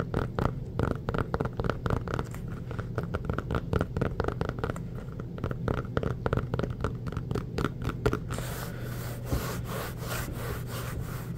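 Fingertips rub and scratch an inflated, hollow, orange pebbled rubber basketball. Quick, dry scratching strokes dominate the first eight seconds over a low, steady hum. The sound then shifts to a brighter, smoother rubbing texture until the end.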